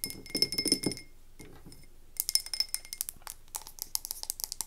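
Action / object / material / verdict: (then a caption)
tap / wax-filled glass candle jar tapped with fingernails / glass / none. Long nails rapidly tap a medium, wax-filled frosted glass candle tumbler, first as it sits on the table and then after it is picked up. A quick burst of bright, high glassy clinks with short ringing tones gives way to a brief near-quiet pause, followed by a second run of sharp, separate taps.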